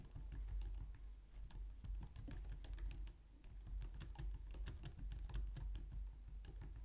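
Long nails and fingertips type steadily on a compact, low-profile white plastic computer keyboard, producing a rapid, uneven stream of light, bright plastic clicks and taps. A constant low hum sits beneath the typing throughout, and the clicking pauses briefly about halfway through before continuing.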